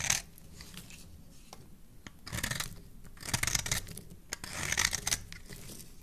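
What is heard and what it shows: A metal blade scrapes the surface of an oval, solid red bar of soap held in the hand. Bright, crisp, rasping scrapes come in several uneven bursts, with short sharp ticks between them and quieter shaving noise in the gaps.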